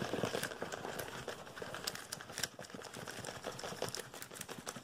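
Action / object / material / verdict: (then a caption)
tap / small printed cardboard box / cardboard / none. A small, hollow blue-and-white printed Omron cardboard product box is held and rapidly tapped and scratched with fingertips and nails. The result is a dense, continuous stream of quick, dry taps with almost no ring, layered over bright, papery scratching that rises and falls at a steady, fast pace.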